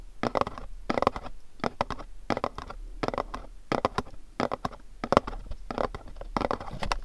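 Fingernails rub and scratch a pink cube-shaped cardboard candle box, producing quick, dry, papery scratching bursts in a steady, uneven rhythm. The rasping sits mostly in the mids, with brief bright edges. Each stroke stops almost instantly, with no ring, over a quiet background.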